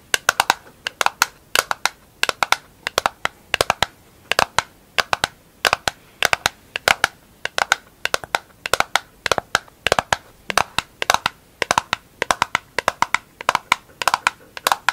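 A round, hollow, empty pink plastic container lid with a grapefruit label is held in the hands and tapped and scratched with long acrylic nails. Dozens of sharp, dry, bright clicks come in quick irregular bursts, each with a hollow tone around 1 kHz that dies away almost instantly, with faint scratching between them.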